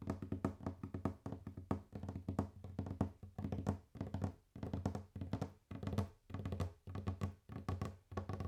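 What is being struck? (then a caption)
Wooden table. Fast, intense tapping and knocking on a wooden table. Dull, low wooden knocks come in rapid clustered bursts separated by brief pauses, each hit dying away almost instantly.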